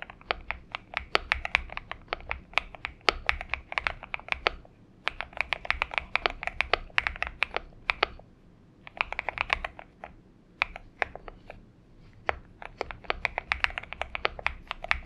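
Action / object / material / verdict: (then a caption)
tap / aluminum-case mechanical keyboard with PBT keycaps / aluminum, plastic / none. Typing on a Xinmeng M71, a purple-backlit 70% mechanical keyboard with an aluminum case and PBT keycaps, resting on a desk mat, with fingertips of both hands striking the keys. Bursts of quick, bright, clacky keystrokes are heard, each dying away almost instantly, with brief quiet pauses between runs of typing.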